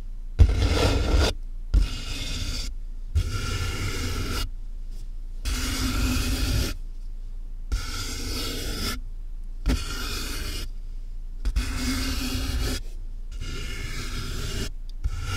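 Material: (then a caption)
Cardboard. Long fingernails on both hands scratch the taped top of a large, hollow cardboard box, then fingertips rub its sides. The result is a series of scraping, rasping bursts with short silent gaps between them, dominated by a deep, hollow rumble from the box.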